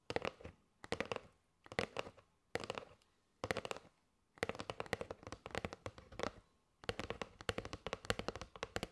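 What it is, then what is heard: Cardboard box of paper straws tapped with nails. A kraft cardboard box with a window, full of paper straws, is tapped with long nails on its face and side. Quick, dry clicky taps come in rapid bursts separated by short pauses, with a hollow papery body around 490 Hz and bright nail clicks on top. Each tap dies away almost instantly.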